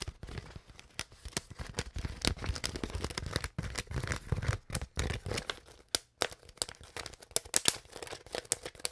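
An empty, hollow, clear plastic Glacier Clear water bottle with its cap and label is crinkled and scratched with long nails. Dense crackling, crinkling and scratching fill the clip with many sharp, bright transients over a low body. Brief quiet gaps separate some bursts.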